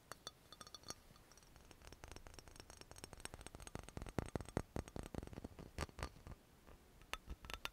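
An amber glass dropper bottle — brown glass with a paper label and a black dropper cap, hollow with some liquid inside — is tapped with long nails. The result is a quick, irregular run of sharp glassy clinks and ticks, with some louder clusters in the middle and near the end.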